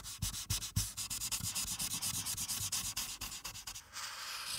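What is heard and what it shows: A broad felt-tip marker rubs and scrubs back and forth over the top right of a thin paper colouring page clipped to a clipboard, colouring it blue. The result is a bright, dry, scratchy hiss in rapid repeated strokes, with soft low thumps from the clipboard underneath, ending in a steadier, smoother rub.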